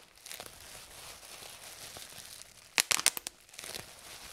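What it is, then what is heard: Plastic bubble wrap popping. Fingers pinch and pop the air bubbles in a fold of clear plastic bubble wrap lifted from the sheet. Soft crinkling of the plastic runs throughout, broken by a quick burst of sharp, bright pops near the end. Each pop is very short and dry, then the crinkling returns.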